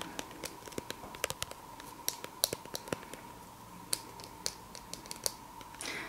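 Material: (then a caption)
Plastic. Long painted fingernails tap and scratch a small, soft plastic squeeze tube of La Roche-Posay Anthelios sunscreen, likely filled with cream, held upright. The result is a quick, irregular run of crisp, bright clicks with almost no ring, mixed with light scratchy rustles over a faint steady tone near 1 kHz. It ends in a brief brushy swell.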